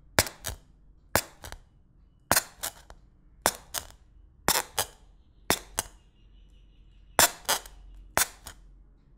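A thin white stick pokes sharply through clear plastic cling film stretched over an empty glass bowl, and the film is heavily punctured. Each puncture makes a short, bright, dry pop that stops almost at once. The pops come in pairs and small clusters with quiet gaps between them.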